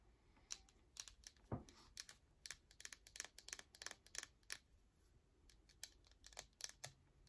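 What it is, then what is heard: Bar of soap tapped with fingernails. Long acrylic nails tap and scratch the surface of a whole, palm-sized solid bar of yellow soap with an embossed logo, held in the hand. A quiet, fast run of sharp, bright clicks is broken by short scratchy rasps, with one duller low thump near the start. Each tap dies away almost at once.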